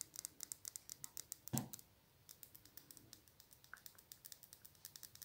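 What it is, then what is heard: Glass nail polish bottle. Long nails tap rapidly along a small, full glass nail polish bottle with an orange plastic cap and a barcode label, making about 31 quick, bright, clicky taps. A louder, scratchy burst comes around the middle, followed by a short pause before the tapping resumes at a steady pace.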